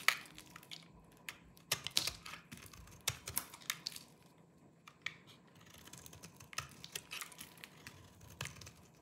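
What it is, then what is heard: Dry soap bar being scraped. A small knife with a yellow-tan blade shaves and scrapes the surface of a hand-sized, dry green soap bar held in one hand, knocking crumbly flakes loose. The sound is a quiet, irregular series of short, dry, crunchy scrapes and crackles, mostly bright and high, with almost no low end and no ring after each stroke.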